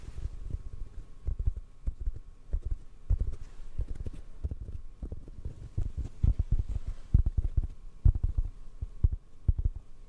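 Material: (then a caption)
Foam. Fingertips tap on a hollow black foam windscreen held in front of the microphone, producing a rapid, irregular patter of soft, muffled low thumps with almost no high end. Each tap dies away almost instantly, with louder clusters around the middle and later part of the clip, over a faint steady hum.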